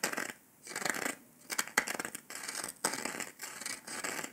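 Fingertips and nails tap and scratch the surface of a round, flat, golden dalgona honeycomb sugar candy disc that is solid and brittle. The result is bursts of dry, bright scratching, broken by sharp clicks and short quiet gaps.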